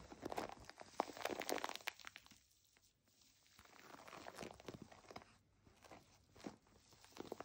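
Long nails scratch and squeeze the textured nubs of a white plastic foam bath pillow held upright, making dense crinkly, crunchy scraping bursts. The sound is loud at first, dips to near silence for about a second, then returns as softer, irregular scratches with a few sharper crackles.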